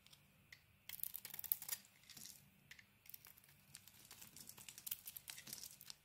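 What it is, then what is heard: Bar of soap being shaved. A steel blade shaves and scrapes the green coating off a solid cream soap bar held in the hand. Quiet, dry, bright scraping strokes come in quick crackly bursts with short pauses between them. Each stroke dies away almost instantly.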